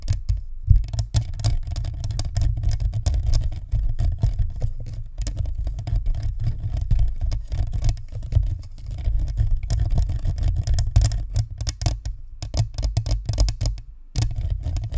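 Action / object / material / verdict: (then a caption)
tap / plastic ball microphone with metal grille / plastic / none. Long nails on both hands tap rapidly against the sides of a white spherical Blue Snowball microphone, a hollow plastic shell with a perforated metal grille. The result is a dense, fluttering patter of short, dull thumps that boom heavily in the low end, with faint bright clicks on top. It runs almost continuously, broken only by brief pauses near 0.6, 12 and 14 seconds.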